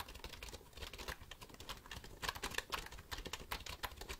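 A black plastic computer keyboard is held upright while fingertips press and click its keys. The result is a quiet, steady run of rapid, crisp clicks with bright tops and almost no ring, getting slightly louder and sharper partway through.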